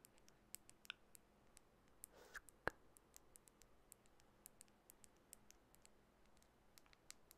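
A small glass bottle of orange nail polish with a black cap is held in the hands and tapped with long bare natural nails. Quiet, dry, bright clicks come at an irregular pace, with a slightly louder tap and a brief soft rustle near the middle, over a faint low hum.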